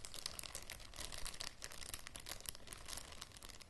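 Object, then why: Thin plastic zip bag. Fingers and nails crinkle a clear, thin plastic zip bag with a small object inside, held up close. A steady stream of bright, crackly crinkles runs throughout over a faint low rumble, with short sharper snaps standing out.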